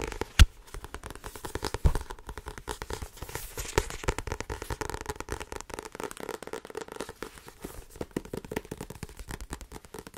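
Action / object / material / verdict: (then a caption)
tap / paperback book with card cover / card and paper / none. Fingertips and long nails tap fast on the front cover and spine of a small, solid paperback book with a blue card cover. The result is a dense, continuous stream of short, dry taps with a crackly edge, mostly low in tone. A sharper knock stands out near the start.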